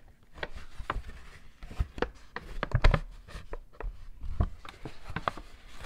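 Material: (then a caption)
Paper. A medium-sized, empty, white and pink printed Victoria's Secret paper shopping bag with rope handles, lying folded on a red textured mat, is handled, crinkled and tapped with fingertips and painted short nails. Dull, low, hollow taps and soft papery crinkles come in a quick series of short, dry hits with almost no ring, over a quiet close background.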